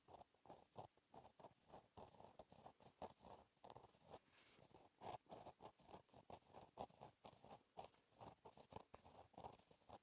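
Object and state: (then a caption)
Pen writing on a paper notebook page. A gel pen tip scratches across a flat, black, lined paper notebook page while writing in cursive. The audio is a quiet, steady run of short, dry scratching strokes, each with a midrange body around 800 Hz and bright, papery edges, separated by brief pauses.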